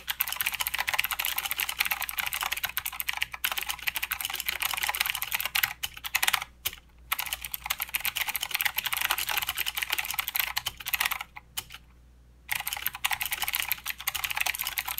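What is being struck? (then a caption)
Mechanical keyboard with plastic keycaps. Both hands type with their fingertips on a full-size mechanical keyboard with plastic keycaps and blue clicky switches. The result is a fast, steady stream of sharp, bright clicks with very little low end. The typing pauses briefly near 6.5 seconds and again for about a second near 12 seconds before resuming.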